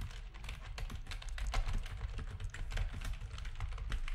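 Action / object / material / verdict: tap / plastic computer keyboard / plastic / none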